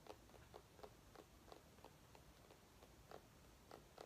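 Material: Pumpkin rind.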